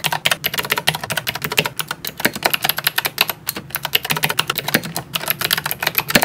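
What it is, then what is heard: Plastic mechanical keyboard. A small 60% plastic mechanical keyboard with purple and white keycaps and blue switches, sitting below a tablet, is typed on with the fingertips of both hands. A fast, steady stream of bright, sharp clicks with very short decay fills the clip, with no pauses longer than a moment.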